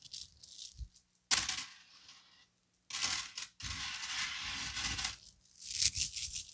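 A small gold-colored plastic bead chain necklace of solid small beads is swung, piled on a table, shaken, and rubbed between cupped fingertips with some nail contact. The result is bright, dense, rattling clatter in bursts, broken by brief near-silent pauses.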